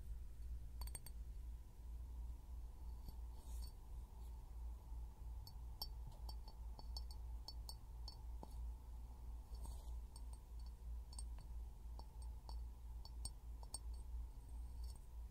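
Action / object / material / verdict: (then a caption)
tap / small glass jar / glass / none. An empty, palm-sized clear glass jar with a threaded rim and no lid is held upside down over a pin microphone resting on a yellow rubber toy. It is tapped with fingertips and short nails, giving soft, short, bright clinks at an uneven pace over a steady low hum.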